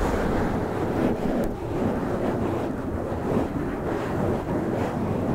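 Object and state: Foam microphone windscreen being scratched.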